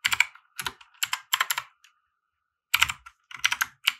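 A compact 60% mechanical keyboard with white plastic keycaps and RGB lighting, resting on a felt desk mat, is typed on with the fingertips of both hands. Quick bursts of bright, clacky keystrokes with very short decays come in clusters, broken by a brief pause near the middle before the typing resumes.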